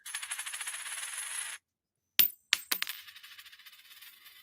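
Two silver quarters are dropped for a ping test, giving a bright, high ringing tone that shimmers for about a second and a half. After a short silence, three sharp metallic strikes follow, then a fading, rattling ring. The clear, sustained ping marks them as genuine silver coins.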